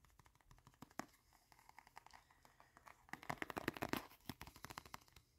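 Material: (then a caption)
Leather. Fingertips and short nails quickly tap and scratch the surface of a small, folded, reddish-brown leather wallet that is solid and flat and held up close. The result is a fast, irregular run of sharp, dry taps mixed with scratchy rustling. It starts quietly, then grows louder and denser toward the middle before easing off.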